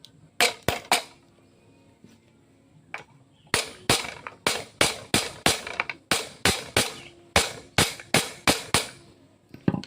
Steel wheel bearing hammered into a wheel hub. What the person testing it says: sudah mentok teman-teman bunyinya beda